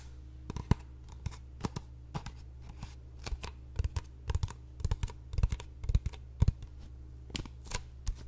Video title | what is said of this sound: ASMR Trigger Survey | tapping on a surface that is rather hollow